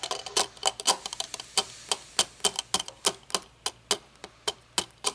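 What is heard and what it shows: A small pair of aviator-style sunglasses with a thin metal frame and mirrored lenses lies folded on a wooden table while long polished fingernails tap and fidget on the lenses and frame. The result is rapid, irregular, bright clicks and ticks that are sharp and dry, decay almost instantly, and have almost no low end.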